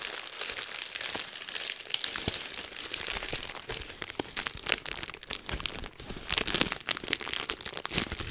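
Clear plastic bubble wrap is held low in both hands while fingertips pinch and pop the bubbles. A steady bright crinkling of plastic runs throughout, punctuated by many sharp, short pops with almost no low end.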